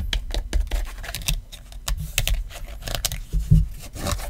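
Fingertips and nails tap and rub along the edges and back of an iPhone XR in a black rubbery case with a fabric card pocket. The result is a rapid run of dry, muffled taps with a low thudding body, mixed with brief bright clicks of nails and scratchy rubbing that die away almost instantly.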